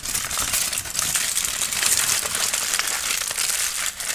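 A sheet of aluminum foil is crumpled and squeezed by hand into a loose wad while an orange tabby kitten watches. The crinkling is dense, bright and continuous for about four seconds, with little low end.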